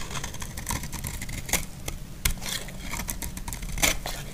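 A utility blade shaves and scrapes the surface of a solid, dry pink bar of soap. It makes irregular, crisp scratchy strokes with bright, papery edges, and a few sharper scrapes stand out. A steady low hum runs underneath.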